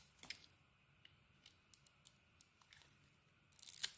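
A solid red and white bar of soap is held in the hand while its edges are shaved with a metal utility blade. Sparse, quiet, bright scraping ticks and crisp shaving clicks sound through most of the clip. It ends in a denser, louder burst of hissy shaving near the end.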